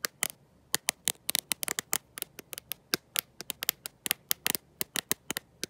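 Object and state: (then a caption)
Glass-backed smartphone. Long nails fitted with gold metal paperclips tap and scratch the glossy glass back of a black smartphone with no case, held in one hand. About 28 sharp, bright clicks ring out in an irregular rhythm, each dying away almost instantly with almost no low end.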